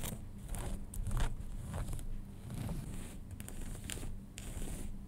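Fingernails scratch the waistband and fabric of light-blue cotton denim jeans lying flat, with a leather-like label on the waistband, after the jeans are rearranged early on. Soft, dry rasping strokes come in short bright bursts over a steady low hum, with quick scratches that fade fast.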